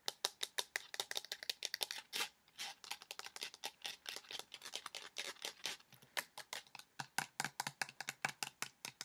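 A hand-sized pink plastic lotion bottle with a white cap, hollow and partly filled with liquid, is tapped and scratched quickly and hard with long nails. Several dozen sharp, dry clicks and scratchy strokes come in a rapid run, bright with a peak near 3.8 kHz, with almost no low end and no ring. Each hit dies away almost at once, leaving a crisp clatter.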